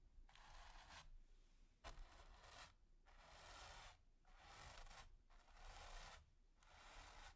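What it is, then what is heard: Stiff bristle brush scratched across primed canvas. A stiff natural-bristle paint brush with a wooden handle and metal ferrule is dragged across a flat, taut, finely textured grey primed canvas. It makes repeated dry, hissy scratching and brushing strokes, bright and broad in tone, with short quiet pauses between them.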